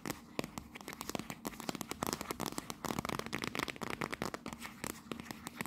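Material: Cardboard.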